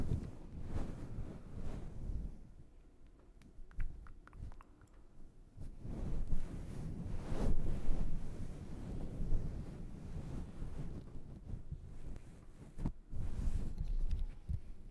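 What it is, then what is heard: Faux fur microphone windscreen. A grey-black fluffy synthetic fur windscreen on a black shotgun microphone is rubbed and stroked with fingertips. The result is a deep, muffled rumbling rustle that sits almost entirely in the low frequencies, broken by occasional soft thumps and scratchy brushes as the fur is pressed and dragged.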